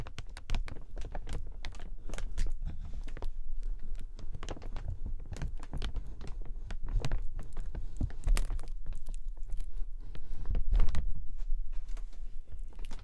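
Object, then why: Plastic umbrella canopy. Fingers tap and crinkle the canopy of an open, transparent plastic umbrella with metal ribs and a white tip. The result is a dense, irregular stream of dry, short taps and crackly crinkles, each with a soft low thump and a bright rustle, at a steady moderate level.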